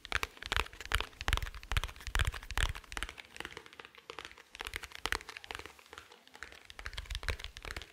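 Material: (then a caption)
Plastic. Fingertips tap and scratch along the top and side of a small, dark, rigid, hollow glasses case held in one hand. Quick, dry clicking taps with a hollow low thump come at an uneven pace, some faster and louder, others softer, between brief scratchy rustles. Each tap dies away almost at once.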